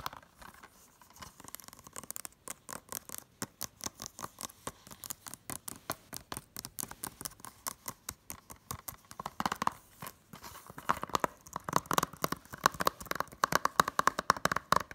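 Long nails tap rapidly on a hollow blue plastic Blu-ray case, first along its spine and then on its front cover. The result is a dense patter of dry, clicky taps with no low end and almost no ring. The taps grow louder and sharper toward the end, with a faint midrange tone around 1.1 kHz.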